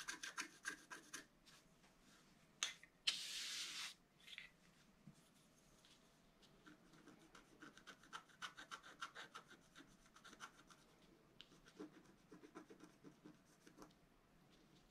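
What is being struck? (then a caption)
Black-coated scratch-art paper card with wooden stylus. A wooden stylus scratches the top area of the picture on a flat, black-coated scratch-art card lying on a table. Quick, irregular bursts of dry, bright scratching run throughout, with one longer, louder hissing scrape near the start.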